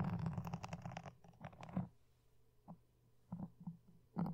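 Wooden toothpicks and dark-painted nails scratch close against a soft, porous black foam windscreen with red dots on a red desk microphone. The first two seconds are a dense, muffled, low rumbling scrape. After that come quieter gaps broken by short scratchy bursts, and the clip ends on a louder burst.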